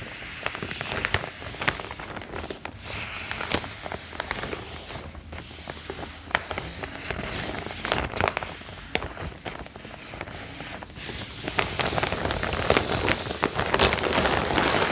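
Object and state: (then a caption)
Canvas tote bag. A large, empty cotton canvas tote bag printed with a black eye logo is held up flat. Long, dark-painted fingernails scratch and tap across its fabric surface. The result is a steady stream of dry crackling scratches and soft taps that grows busier and louder toward the end.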